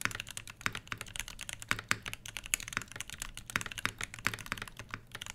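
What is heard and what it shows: Both hands type continuously with their fingertips on a full-size mechanical keyboard with Everglide Crystal Purple switches, HBCP plastic keycaps over a brass plate, and a solid body, resting on a fabric desk mat. Rapid, dense, bright clacks come with a faint low thump under each press, and every keystroke cuts off almost instantly.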